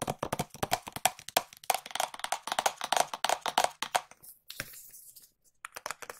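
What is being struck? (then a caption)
Small cardboard box. A small, hollow, white printed cardboard product box is held in both hands and tapped with long nails. Quick, uneven, dry clicking taps with a hollow mid-pitched tone come in rapid bursts, then thin out into a few scattered taps and a soft brushing sound before a short final flurry.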